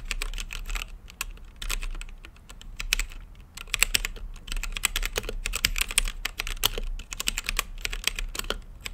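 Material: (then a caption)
Plastic. Fingertips type continuously on a plastic mechanical keyboard with plastic keycaps set in a translucent acrylic case. Rapid, bright, clicky keystrokes come in bursts with short pauses, each tap dry and quick, centered around 2.7 kHz. A steady low hum runs underneath.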